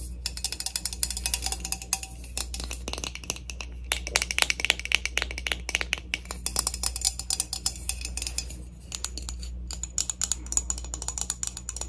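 A plastic heat protectant mist spray bottle is tapped and rubbed in rapid, fingernail-like flurries that make dry, bright clicks with almost no ring. Short pauses break up the tapping, and a steady low hum sits underneath throughout.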